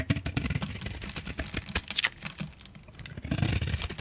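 A metal utility blade scrapes and cuts crunchy shavings off the face of a solid, rectangular, pink, yellow and blue coated AXE bar of dry soap held in one hand. A rapid, uneven run of dry, bright crackles and crunches plays over a low, dull body, each scrape cutting off sharply with no ring.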